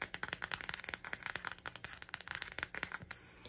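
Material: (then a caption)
Plastic. Long nails rapidly tap and scratch a clear, transparent plastic phone case with a red lips print, with the phone inside. About 22 sharp, bright clicks come in quick succession with almost no ring, then give way to a softer, steady scratching at the end.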